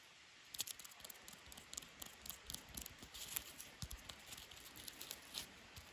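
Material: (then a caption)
Wood, bark. Hands grip a solid section of natural wooden stick covered in dry, papery, lichen-spotted bark, and fingers peel and crunch the bark flakes. Quiet, bright, crackly crunches and quick snaps come in a steady, uneven stream after a brief hush. Each one cuts off almost instantly.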